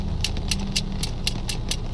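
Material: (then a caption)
Iron. An iron fence is knocked with a piece of iron in seven evenly spaced, sharp metallic taps that ring high and clear and die away quickly. A steady low rumble runs underneath throughout.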